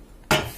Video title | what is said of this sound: Review Knalpot Terbaik Ninja RR 150, Knalpot Ori Bobokan | lebih oke suaranya nyaring nyaring